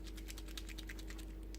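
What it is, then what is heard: Chalk marker with mixing ball rattling inside. A new green plastic chalk ink marker pen is shaken before its first use, and the agitator inside rattles to mix the chalk ink. Quiet, rapid clicking rattles run continuously over a steady low hum. The rattle is the normal sound of the mixing agitator.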